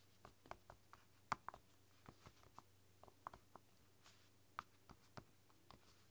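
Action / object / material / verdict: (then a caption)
tap / silicone roll-up keyboard / silicone / none. Fingertips and long dark nails type on the soft pink keys of a flexible, translucent silicone roll-up keyboard. About sixteen quiet, soft taps and dull clicks come at an uneven pace, each stopping instantly with no ring. A faint steady low hum sits underneath.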